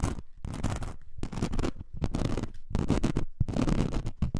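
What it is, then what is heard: Glitter foam craft sheet scratched. Long nails scratch the rough glitter surface of a thin, roughly A4-sized glitter foam craft sheet, first lying flat and then held up. The sound is a series of dense, rasping scratch bursts with a full low-heavy body, separated by brief near-silent gaps. Some strokes end in short, sharp scrapes.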